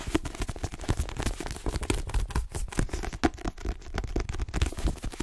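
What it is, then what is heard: Paperback book with card cover. A dark paperback copy of "The Twin" with a glossy card cover, solid and held in both hands, is tapped fast by long nails on its cover and edges. The result is a rapid, continuous stream of short, dry taps with dull low thuds and almost no ring.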